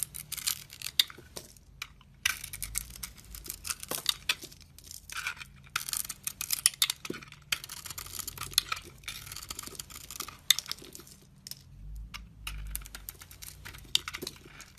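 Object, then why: Bar of soap scraped with a metal blade. A metal utility-knife blade scrapes and slices thin layers off a hand-held oval bar of soap with a dark blue glitter coating and a light blue marbled interior. Crisp, bright crackling scrapes come in quick bursts separated by brief pauses, over a faint low hum.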